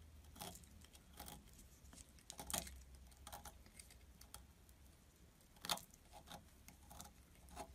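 A palm-sized solid blue bar of soap with embossed lettering, held in one hand, is shaved with the metal blade of a utility knife, scraping curls and flakes off the bar. Short, crisp, bright scraping strokes come at irregular intervals, with a few sharper louder ones, over a quiet low hum.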